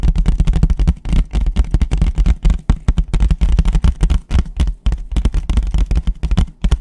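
A white paper plate is tapped fast with fingertips, first on its front and then turned upside down on its underside. The result is a rapid, uneven run of dull, low, papery thuds that die away almost instantly.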